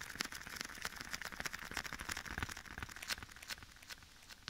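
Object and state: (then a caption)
Leather glove. Bare fingertips tap and rub across the back of a black leather glove, worn on one hand and held against the right ear of a microphone, with an echo effect. Soft, quick taps and crinkly rubbing come in an uneven, steady stream, bright and papery with a slight upper-mid focus. The sound stays quiet throughout, with a sharper tap at the very end.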